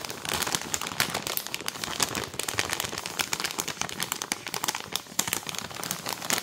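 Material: Plastic film.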